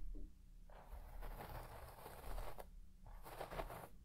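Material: Textile.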